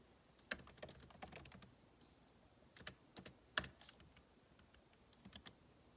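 Fingertips type on the plastic keycaps of a backlit MacBook Pro keyboard set in an aluminum body. About fourteen quiet, short, bright clicks come in irregular bursts with pauses, each dying away almost instantly with little low end.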